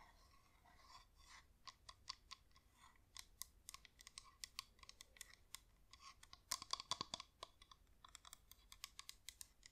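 Long nails tap and click rapidly on the sides of a yellow wax flameless LED pillar candle with a flickering light, held in both hands. The taps are short, dry and bright, with a hollow tone around 1 kHz, and come in quick irregular bursts that grow louder in the middle of the clip.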